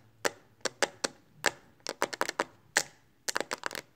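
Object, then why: Hard plastic phone case. Long acrylic nails tap quickly on the flat back of a smartphone in a pink hard plastic case held in both hands. The taps are sharp, bright clicks that die away almost instantly, coming irregularly and bunching into quick flurries near the middle and end.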